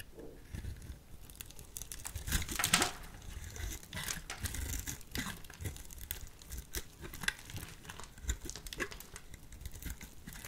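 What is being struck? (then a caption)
Bar of soap. A solid, hand-sized white soap bar held in the hand has thin shavings and strips scraped off its end with a utility knife blade. Dense, dry crinkling and scratchy rasps come in quick, uneven bursts with bright hiss. A louder, brighter scrape stands out near the three-second mark.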